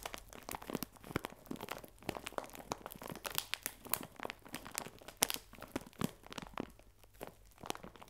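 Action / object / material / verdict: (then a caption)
scrape / plastic bag of biscuits / plastic / none. A clear plastic bag full of biscuits, held upright, is squeezed and crinkled with the fingertips. It makes a steady stream of dry crinkling and crackling with sharp, bright snaps that stop instantly. Beneath the crackle is a soft crunch of the biscuits shifting inside.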